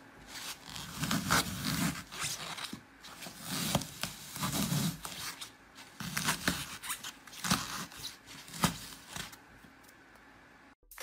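Fingertips press and crush a glitter-coated green floral foam block, turned around, as the porous foam breaks and is left pitted with holes all over. Dry, crackly crunches and bright crumbling bursts come in uneven clusters over soft low thuds, then fade to near quiet for the last second or so.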